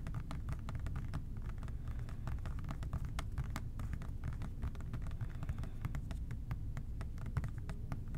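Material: Plastic.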